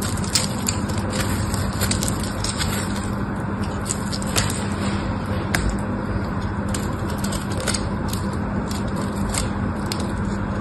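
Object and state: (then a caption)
Bar of soap being scraped. A solid pink bar of soap held in the hand has its surface scraped and carved into flakes with a black utility knife blade. A steady, dense scraping rasp runs throughout, with faint crackles and sharp bright ticks scattered over a low rumbling bed.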